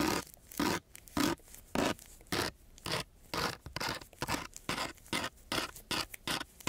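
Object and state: Coarse sandpaper scratched with a metal key.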